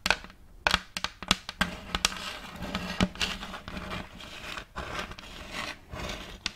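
Long fake nails tap and scratch the surface of an empty, round, thin plate of checkered light wood held facing the mic. Sharp, dry clicks with almost no ring break through a steady, bright scratching rasp.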